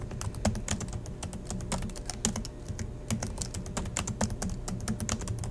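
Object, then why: Plastic laptop keyboard. Steady two-handed fingertip typing on the black plastic chiclet keys of a silver Acer laptop resting on a desk. Rapid, dense clicks and taps with short, dry attacks and a low, thocky body, a continuous rattle of keystrokes throughout.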